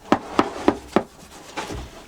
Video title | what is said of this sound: PAN artesano. Cultivo del cereal, molienda y elaboración tradicional - Oficios Perdidos - Documental | le son creux lors de la frappe indiquent qu'ils peuvent maintenant être retirés du four